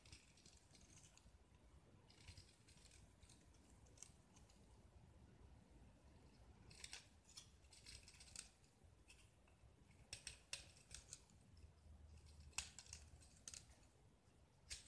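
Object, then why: Gypsum block scraped with a metal blade. A small solid white gypsum block with green painted patches is held in the fingers and scraped and carved with a metal utility knife blade, curling chalky flakes onto a pile of shavings. Quiet, dry scraping and crisp, bright cuts and clicks come in short bursts over a low, steady hum, with sharper strokes toward the end.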